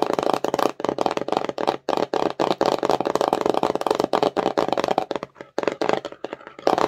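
An empty, colorful, glossy printed cardboard slime box is held in both hands while long nails tap and scratch its front face. The result is a fast, dense run of dry, papery clicks and scrapes with almost no ring, centered in the midrange around 580 Hz. The stream breaks briefly near 1.8 and 5.5 seconds.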